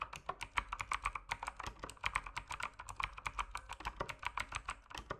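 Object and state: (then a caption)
Mechanical keyboard typing. Fast fingertip typing on an RGB mechanical keyboard with plastic keycaps produces a dense, steady stream of sharp clacky keystrokes. The clicks are bright and short, centered in the upper mids, with little low end and almost no ring after each strike.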